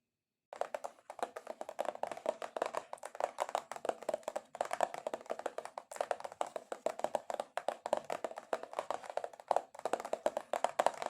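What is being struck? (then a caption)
Cardboard box tapped with long nails. Long acrylic nails tap aggressively on a cardboard box in a rapid, continuous stream of short, dry, hollow clicks with a mid-range knock. The tapping comes in fast bursts with brief pauses, and the sound stops almost instantly after each tap.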